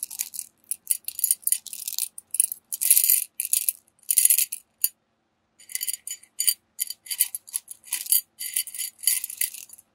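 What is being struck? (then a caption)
Small metal beads in a glass jar. A small clear glass jar, partly filled with small gold tube-shaped metal beads, is held tilted in one hand while the fingertips of the other stir and rub the beads so they rattle against the glass. Bursts of bright, high, crisp clicking and jingling come in quick irregular clusters with almost no low end, with a short pause near the middle before the rattling resumes.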